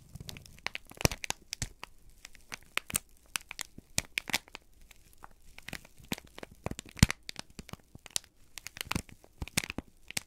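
A single crumpled sheet of thin, flexible brown kraft paper is held in both hands and squeezed and crinkled with the fingertips and thumbs. It makes a steady stream of dry, irregular crinkles and sharp, bright crackles that stop almost instantly. Louder snaps stand out near the first second and around the seventh second.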